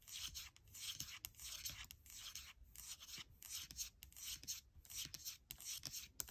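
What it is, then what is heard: Aluminium laptop palm rest, scratched. Long nails repeatedly scratch and rub the aluminium palm rest of a gold MacBook Air. The sound is a quiet, bright, hissy scraping in rhythmic back-and-forth strokes, almost entirely high-pitched with little low end and no ring after each stroke.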